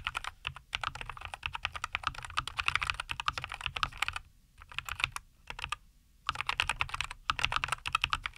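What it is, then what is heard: Mechanical keyboard with plastic keycaps. Both hands type continuously with their fingertips on a compact 75% NuPhy Air75 V2 mechanical keyboard with linear Cowberry switches, a white case and green and white plastic keycaps, resting on a wooden desk. The result is a rapid stream of short, bright, clacky keystrokes, with brief pauses around the middle of the clip, over a faint low hum.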